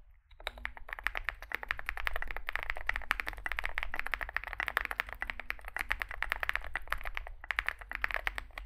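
Fingertips type continuously on a small 65% Zoom65 mechanical keyboard with a dark case and white and grey SA plastic keycaps. A rapid, steady stream of short, crisp plastic clacks with a bright click centered near 1.8 kHz plays over a constant low hum, each keystroke dying away almost instantly.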